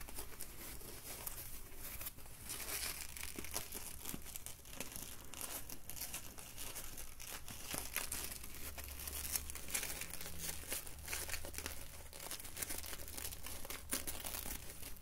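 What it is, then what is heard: Foam net bottle sleeve being squeezed. An empty white polyethylene foam mesh wine bottle sleeve is stretched, then bunched up and squeezed in the hands and fingers. It produces a continuous, dense crinkling and crackling with a bright, airy texture over a steady low rumble.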